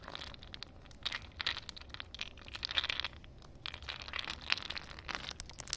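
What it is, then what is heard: Ice cubes. Long nails tap and scratch a cluster of solid ice cubes sitting in a puddle on concrete. Bright, crisp clicks and crackly scraping bursts come in quick irregular runs with almost no ring. A faint low hum sits underneath.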